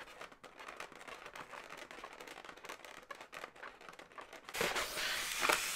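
Long nails scratch and squeeze a hollow, inflated blue latex balloon dog, making a dense run of quick, crackly scratches and rubbery squeaks. About two-thirds of the way through, the sound turns louder and brighter into a harsh, hissy rubbing squeal that lasts to the end.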